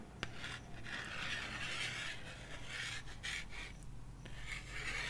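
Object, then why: Cardboard LP record sleeve. Long nails scratch and trace along the top edge and front face of a 12-inch cardboard vinyl LP jacket, producing continuous rasping, scraping strokes with a brief sharp tick near the start. A faint steady low hum runs underneath.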